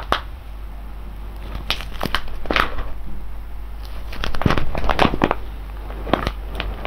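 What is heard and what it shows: A large sealed silver foil-laminate coffee bag full of whole beans is held in both hands and squeezed and rubbed with the fingers. It gives off irregular crinkling and crackling bursts with sharp, bright transients and a steady low hum underneath.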